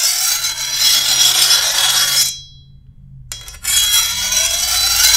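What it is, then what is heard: Steel machete blade being filed. A hand-held steel file is drawn along the edge of a long, thin, solid steel machete blade, giving a bright, harsh rasping scrape with faint high metallic ringing. Two sustained filing passes are heard, separated by a short near-silent pause with a brief light scrape before the second pass.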